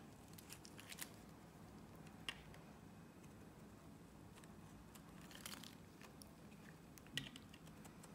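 A box-cutter blade scores and cuts thin strips from a partly carved solid green Nivea soap bar. Quiet, crisp scraping and crinkly cuts play over a low steady hum, with a few sharper bright snaps standing out.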